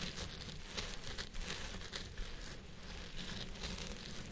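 Fingertips and nails of both hands scratch and rub the fibers on the sides of a purple synthetic wig resting on a head form. The result is a continuous, crinkly rustling with bright crackling bursts over a soft low rumble, steady in level throughout.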